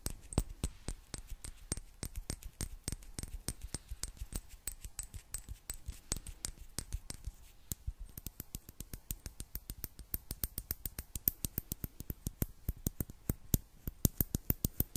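A small clear glass bottle with a gold metal cap, partly filled with water, is tapped and scratched with long black nails. A steady stream of sharp, dry clicks with almost no ring continues throughout the clip. The taps grow slightly denser and brighter in the second half.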